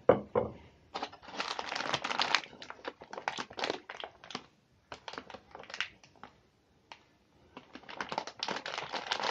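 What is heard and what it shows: A clear plastic tray full of chocolate chip cookies, wrapped in thin plastic film with a cardboard label, is held in both hands and squeezed and rubbed with the fingertips. Irregular bursts of bright, dry crinkling and crackling come and go, with brief quiet gaps between them.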